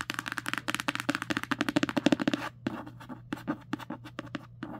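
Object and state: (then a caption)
Paperback book cover. Long nails scratch and trace the illustration on the matte cardstock cover of a solid paperback book lying flat. A fast run of short, dry scratching strokes fills the first half, then thins into softer, scattered strokes, with a faint steady low hum underneath throughout.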